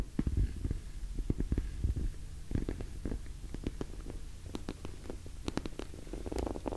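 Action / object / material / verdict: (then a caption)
tap / glossy vinyl cosmetic pouch / vinyl / none. Long nails tap and scratch the surface of an orange glossy PVC cosmetic pouch held in both hands. The sound is a steady run of soft, muffled low thumps and rubbing, with brief sharp clicks that fade almost instantly.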